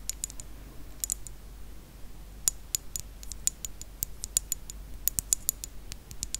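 Long acrylic nails tap and click on a rectangular thick-glass perfume bottle filled with dark red liquid, lying on its side. A quick, uneven run of sharp, bright clicks rings only briefly, each with a high glassy tick, over a faint low background hum.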